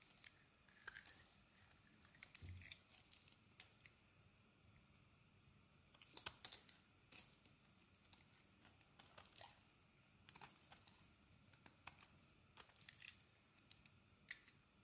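A metal blade cuts and scrapes the surface of a solid purple soap bar held in the hand, shaving it into flakes. The sound is quiet and bright: a steady run of crisp scraping, crackling, and short crunchy clicks, with a few louder cuts around the middle.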